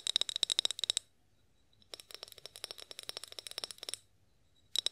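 Long acrylic nails tap and scratch a clear, partly filled glass olive oil bottle with a pour spout, held in both hands. Quick, bright clicking taps with a glassy ring near 3.8 kHz come in bursts: a fast run in the first second, a longer, lighter stretch from about two to four seconds, and a short flurry at the end, with near silence in between.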